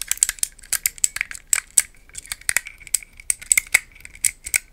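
A small green-tiled plastic puzzle cube, held in both hands, is tapped and scratched with long nails. The result is a rapid, irregular series of sharp, bright clicks and scratchy ticks with almost no low end, each dying away at once.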